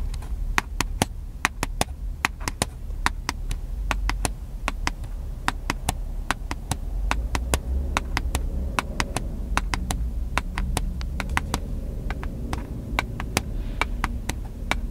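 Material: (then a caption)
Plastic. Fingertips of the right hand tap the body and lens area of a small, hollow, black plastic handheld camcorder held in the left hand. Dozens of short, sharp, bright clicky taps come in an uneven steady stream, each dying away instantly. A constant low rumble sits underneath.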